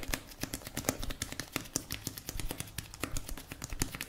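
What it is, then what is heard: Plastic cosmetic tube. A blue plastic cosmetic tube, held horizontally, is tapped and scratched with fingertips and nails. Irregular hollow plastic clicks and taps with a low thud and brief bright scratching come in quick succession, each dying away almost instantly.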